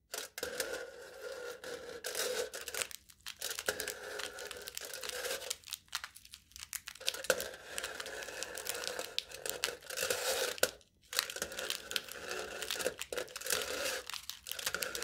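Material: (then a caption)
Aluminium foil. Crinkled, embossed aluminium foil wrapped tightly over the top of a hollow cup held in one hand is pierced and scraped with a metal knife tip. Continuous bright tearing, crinkling and scratching runs throughout, with a hollow tone around 500 Hz and brief pauses near 3, 6 and 11 seconds.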